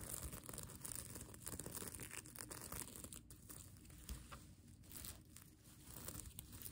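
Fingernails scratch and rub across the plastic sequins of a sequin fabric mermaid tail blanket. The result is a steady, dense rustle of crinkling, tearing-like scratches with a bright hiss on top and a low, rumbling body underneath.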